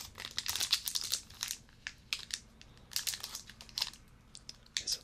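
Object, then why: Fruit and nut bar in a thin plastic wrapper. A solid, full Eat Natural apricot and almond bar in a thin plastic wrapper is held in both hands and squeezed and crinkled with the fingertips. It gives bursts of bright, crackly crinkling with short, sharp clusters and quiet gaps between them, and almost no low end.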